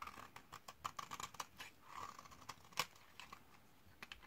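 A metal utility-knife blade scrapes and shaves the edge of a solid white bar of 72% laundry soap from 2012, dried for 8 years and held in hand, producing crunchy flakes. About 18 quick, dry, crisp scrapes and clicks come in a quiet, uneven series, with a bright edge and a focused mid tone near 1.1 kHz. Each stops almost instantly with no ring.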